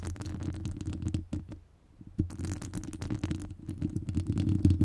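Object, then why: Metal wire-mesh microphone grille. Long acrylic nails scratch across the top of a hollow metal wire-mesh microphone grille. The result is a dense, rapid run of scratchy clicks and rasps over a boomy low rumble, with a brief near-silent pause at about 1.7 seconds before the scratching resumes.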